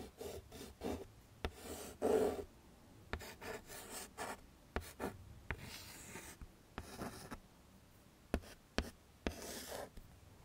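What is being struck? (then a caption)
Chalk stick on a wood-framed chalkboard. A chalk stick writes the letters "ME?" on a wood-framed chalkboard in firm scratching strokes. Rasping, gritty scrapes come in short bursts, broken by sharp taps as the chalk meets the board, with the strongest stroke around two seconds in. The strokes are bright and dry, with quiet pauses between them.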